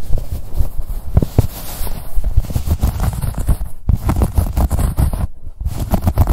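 Long nails scratch along the ribbed fabric of a blue-grey corduroy cosmetic pouch with a label. The result is a dense, low, rumbling scratching made of quick, dry strokes with almost no ring. It pauses briefly near the four- and five-and-a-half-second marks.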